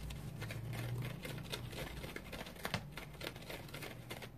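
Fingernails scratch a large, dry, porous yellow synthetic foam sponge resting on a towel. Quick, crackly scratches with bright edges pile up over a steady low hum. They stay quiet and close, with one slightly sharper burst near the middle.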